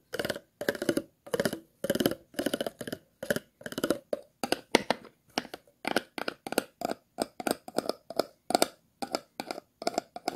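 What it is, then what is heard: Empty plastic water bottle. An empty, hollow, clear plastic water bottle is held in the hands while a thin tool scratches along its side, then across its ridged bottom. The result is a steady series of short, dry, rasping scratch bursts with a hollow midrange body, bright crackly edges and no ringing between strokes.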